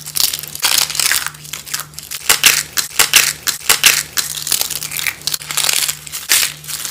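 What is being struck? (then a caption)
Bar soap shavings. Bare hands squeeze and crumble thin, curved shavings of dry light blue and green bar soap between the fingers on burlap, breaking them into crunchy flakes. Dense, bright crackling crunches come in uneven bursts throughout, with a faint steady low hum underneath.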